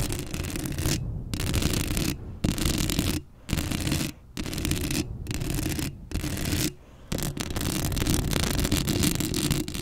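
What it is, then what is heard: Metal mesh microphone grille being scratched. Long acrylic nails scratch the hollow metal mesh grille of a black Blue Yeti microphone up close. The result is a dense, rough scraping with a heavy low rumble and a bright hiss, broken by several brief pauses.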